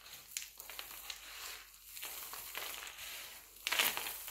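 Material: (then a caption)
Glycerin soap. Fingers crumble and pinch a spread pile of mixed-color glycerin soap shavings, then the hands gather the flakes together. The result is a soft, bright, crisp crunching and crinkling with almost no low end, rising to a louder, denser crunch near the end.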